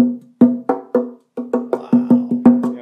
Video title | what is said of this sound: Zoe Guitars Tour: Come Nerd Out With Us! | it's known for a tap tone